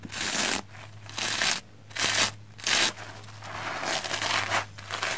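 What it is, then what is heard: Soapy plastic foam sponge being brushed. A round black-bristle hair brush is brushed over a red, soapy, porous plastic foam sponge. It makes bright, wet, crackling strokes in several loud bursts separated by quieter scratchy stretches. A faint low hum runs underneath.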